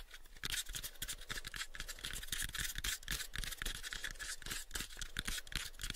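Fingernails scratch the face of a light, pale wooden box held close to the microphones. The result is a rapid, uneven run of dry, bright rasping strokes over soft low thumps from the wood, with no ring after each stroke.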